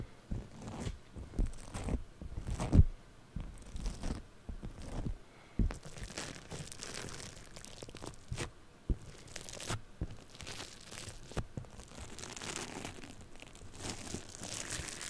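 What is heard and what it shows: Purple floam foam-bead clay is worked around the mic and scratched with a thin tool and fingernails. The result is a close, crackling crunch and tearing sound with many small pops and low thumps, sometimes with a bright fizzing edge.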